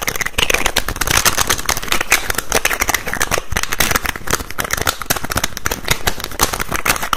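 Fingers rapidly tap and twist the teal-green plastic cap on a white plastic bottle held close to the mic. The result is a dense, continuous stream of sharp plastic clicks, scrapes and rattles, bright and crackly with a low thumping undertone.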